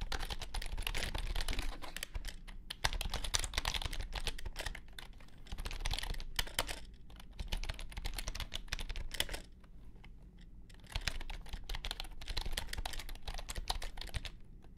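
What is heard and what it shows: Fingertips of both hands type on a compact white plastic keyboard resting on a grey mat. Rapid, dry keystroke clicks run in bursts with a short pause in the middle, each click stopping almost at once over a steady low hum.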